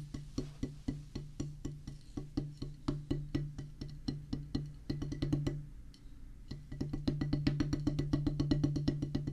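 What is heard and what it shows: Two wooden drumsticks drum on a solid oval practice pad with a black rubber top on a pressboard/wood base, making quick, dry taps about four per second with a low thudding body and short decay. After a brief quieter gap around the six-second mark, the sticking picks up into denser, faster, louder strokes.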